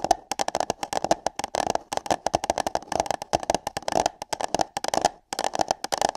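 Long nails rapidly tap and scratch on hollow paper cups placed over the microphone ears. A dense run of quick, dry clicks with bright edges rings briefly with a hollow, mid-pitched resonance, broken by a couple of short pauses.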